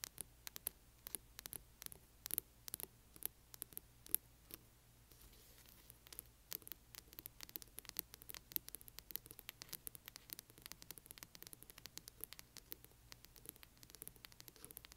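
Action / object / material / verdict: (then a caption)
scrape / hardcover book with glossy cover / cardboard / none. Long nails on both hands scratch the spine of a large hardcover book with a glossy cover. The result is quiet, dense, dry scratchy ticks with a bright, hissy edge over a faint low hum, easing briefly midway before picking back up.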